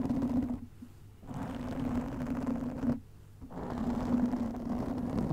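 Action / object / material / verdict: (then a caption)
scrape / foam microphone windscreen / foam / none. Long nails scratch a black foam windscreen over a microphone, making a dense, close scratchy rustle over a steady low hum. The scratching comes in three stretches, broken by two short quiet gaps where the sound drops away almost entirely.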